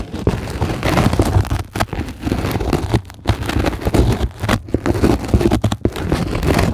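Long glittery acrylic nails on both hands scratch and tap a flat, solid sheet of white closed-cell polyethylene foam. The result is a dense, continuous crackling rustle with a heavy low, muffled body and little brightness. Brief dips and quiet gaps break up the steady scratching.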